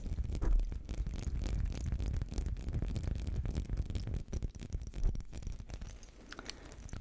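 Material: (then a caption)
Glass. Fingernails scratch steadily across the ridged surface of a small textured glass perfume bottle with a metal cap. The result is a dense, continuous run of quick, close-up scratching strokes, mostly low and muffled with short bright flicks on top.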